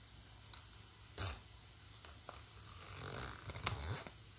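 Fingertips and long nails slide the metal pull along the black plastic coil zipper of a hollow, medium-sized green nylon fabric bag. Over a quiet background, soft ticks and a brief, louder rasping zip are followed by a longer, building run of zipping with sharp, bright clicks before it fades out.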